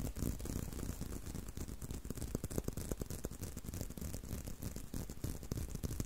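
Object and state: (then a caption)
Leather belt tapped and scratched. A solid tan-brown leather belt is held in a loop close to the microphone while fingertips tap and scratch the leather. A steady flurry of soft, dull taps with low thumps mixes with a faint, bright scratchy rustle throughout.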